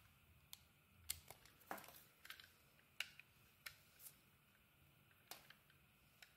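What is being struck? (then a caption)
Bar of soap cut with a blade. A utility knife blade carves and scrapes thin shavings from a handheld solid purple bar of soap with coloured dots, exposing its white core. About fourteen quiet, crisp, bright scraping clicks come at an irregular pace, each dying away almost instantly against a faint low hum.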